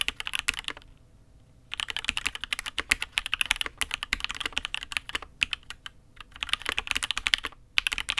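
Both hands type with their fingertips on a custom mechanical keyboard, the Matrix 8xv 2.0, which has an aluminium case and red and grey ABS keycaps. Rapid bursts of crisp, bright clacks sound with very short decay, broken by brief pauses near 1 second and 7.8 seconds.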